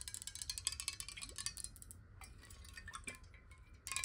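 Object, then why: Glass bottle partly filled with water. A clear, square, hollow glass water bottle, partly filled with water, is held sideways and tapped quickly with long nails. The taps are bright, clicky and chiming with very short rings, thinning out to a softer patter midway before a burst of louder taps at the end. A faint low rumble sits underneath throughout.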